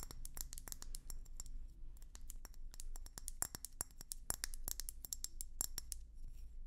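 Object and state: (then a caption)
Glass hummingbird feeder. A bulbous, hand-blown glass hummingbird feeder with red and white swirls, hollow and about hand-sized, is tapped and scratched with long nails. Quick, sharp clicks and bright glassy ticks come in rapid, uneven bursts with tiny scraping sounds between them, each dying away almost instantly. A steady low hum sits underneath.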